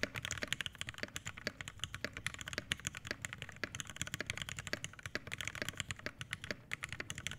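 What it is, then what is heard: Mechanical keyboard with PBT keycaps on a brass plate. Fingertips of both hands type steadily on an Iron180 80% mechanical keyboard with an aluminum case, brass plate, lubed Hyperglide Black switches and PBT keycaps, resting on a desk mat. A rapid, continuous stream of short, crisp keystrokes cuts off almost instantly, with a bright clack centered near 1.8 kHz over a light low thud.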